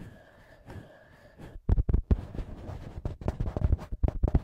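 Thumbs and fingertips rub and then tap the two small metal microphone capsule heads on a TASCAM handheld recorder. A quiet, soft rubbing gives way after about a second and a half to a series of dull, close, bass-heavy thumps that stop short with no ring.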